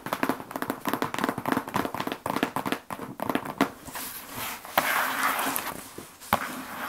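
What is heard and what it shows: A large, closed brown corrugated cardboard shipping box with the Endurax logo and its contents inside is held and turned in the hands. Long acrylic nails and fingertips tap quickly across its flat surface, giving hollow clicks, then shift to a steady scratching broken by a few sharp taps.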